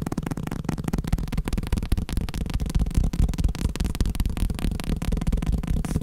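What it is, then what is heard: Paper block tapped. A block of paper is tapped rapidly, producing a continuous stream of dull, low, muffled taps with little high-frequency content and almost no ring after each strike.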